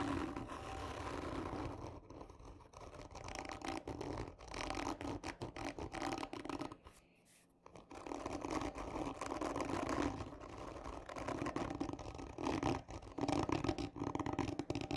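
Long natural nails on both hands slowly and hard scratch the surface of a hollow, textured cardboard tube lying on its side with a black end cap. The result is a steady, rasping scratch with a hollow, mid-pitched resonance. The sound briefly drops to near silence around the middle before the strokes resume and grow louder toward the end.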